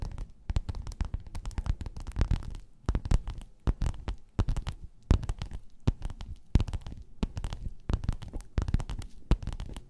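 Long nails scratch and tap a flat, padded, gold quilted metallic faux-leather cover. The sound is a rapid, dry run of soft taps and scratchy rubbing that is muffled and low-heavy, with each tap dying away almost at once.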